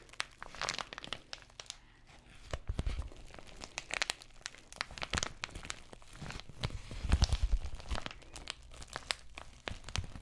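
Long nails scratch the textured plastic surface of an empty white padded bubble mailer envelope. The result is a steady, irregular run of crinkly scrapes and soft crackles with bright, sharp edges over a low, muffled rumble, swelling louder in a few denser bursts.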